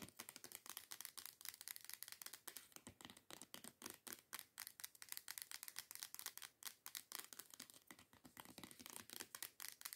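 Long decorated nails tap rapidly on a teal plastic body scrub bottle lying on its side. A steady stream of quick, bright, hollow clicks has almost no low end and no ring. The taps keep an irregular, continuous rhythm throughout.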